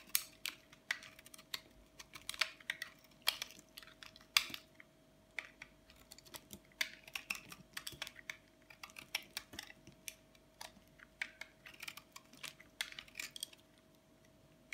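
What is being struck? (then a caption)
Bar of soap. A partly carved, solid bar of white dry soap held in the palm is shaved again and again with a flat metal blade, throwing white flakes onto colorful soap chips. The result is a rapid run of short, dry, crisp scraping and cutting clicks, bright and high with almost no low end and no ring. The strokes come in uneven bursts over a faint steady hum.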